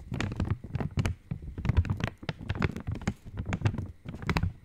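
An opened Cadbury Dairy Milk wrapper, made of metallized, foil-lined plastic, is held near the mic and tapped with long nails. A quick, uneven run of soft, low, thumpy taps follows, each with a brief bright crinkly click on top that dies away almost at once.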